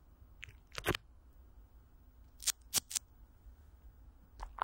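Thin clear plastic film, with Vaseline, is stretched over a large hollow metal mesh microphone grille while the fingertips and long nails of both hands scratch and rub it. Seven short, bright, crinkly crackles and scratches come in uneven bursts over a quiet low background hum. Each burst stops almost instantly with no ring.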